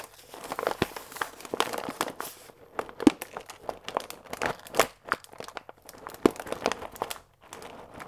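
A full paper fusilli bag with a plastic window is turned on its side and squeezed with the fingertips. It gives irregular bursts of dry, papery crinkling and crunching with sharp crackles, mostly in the mids and highs, separated by brief quiet gaps.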